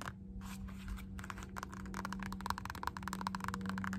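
Long nails rapidly tap and scratch across the embossed strap of a black, solid molded synthetic rubber Puma slide sandal, about shoe size. The dry, clicky taps and scraping strokes come in quick bursts over a steady low hum, growing slightly louder toward the end.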